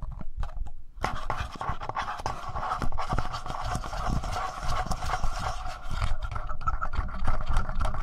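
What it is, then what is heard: Plastic handheld audio recorder. Short fingernails scratch and tap the sides and front of a handheld black plastic Tascam audio recorder. Rapid, close-up scraping and dull tapping sit mostly in the low end, with a steady mid-range rasp from about the first second onward.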